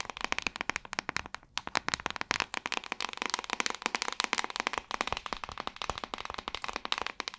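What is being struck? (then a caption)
Plastic paddle hairbrush back. Long acrylic nails tap and scratch the back of a hand-sized, hollow-backed white plastic paddle hairbrush held upright. A quick, uneven run of sharp, crisp clicks sounds bright and dry, with almost no ring and little low end. Faint scratching fills the gaps between taps.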